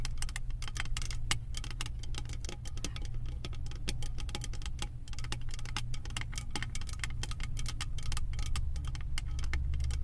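Long acrylic nails tap and scratch the top of a round silver metal lid with a raised bead pattern on a large candle jar. A rapid, continuous stream of sharp, bright clicks and scrapes rides over a steady low hum for the whole clip.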